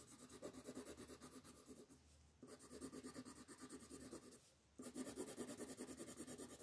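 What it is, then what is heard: Colored pencil shading on a paper sheet. A red colored pencil rubs back and forth on a flat paper coloring sheet lying on a table, shading in a football. Quick, scratchy strokes with a soft papery rasp run in steady bursts, broken by two brief quieter pauses before the shading picks up again.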